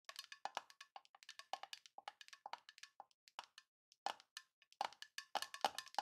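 A small, hollow, rectangular printed tin box with a Grinch design is held tilted in both hands and tapped quickly with long nails on its side and lid. Dozens of rapid, light, clicky taps come in uneven bursts, each with a brief hollow metallic ping around 770 Hz that dies away almost instantly. There is a short pause near the four-second mark before the tapping picks up again.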